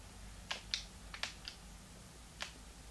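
A small, hollow, translucent pink plastic Game Boy Advance is held in both hands while fingertips press its plastic buttons. Six short, sharp, bright clicks come at uneven intervals and die away almost at once. A faint low rumble sits underneath throughout.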